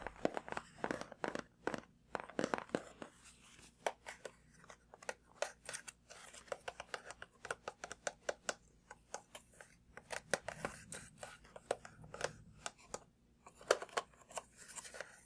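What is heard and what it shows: A hollow printed cardboard retail box for a laptop charger, with a plastic hang tab, is held up and tapped with fingertips and nails on its front and top. The result is a quiet, rapid, irregular series of dry, crisp taps with a light papery click and almost no ring.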